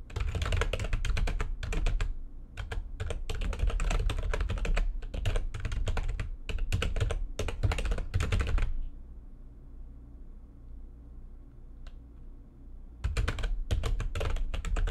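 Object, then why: Plastic computer keyboard. Long nails of both hands type fast on a full-size plastic backlit computer keyboard, producing dense, irregular bursts of sharp clicks over a deep low thud. The typing stops for about four seconds of quiet before a final quick burst.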